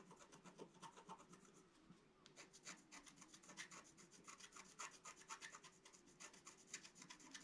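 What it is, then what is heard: Scratch-art paper board being scratched. A wooden stylus scratches leaves near the top edge of a flat, black-coated scratch-art card resting on a table. Quick, irregular bright scraping strokes come at about four per second, with a brief lull around the two-second mark. The strokes sound dry and rasping, with a faint low hum underneath.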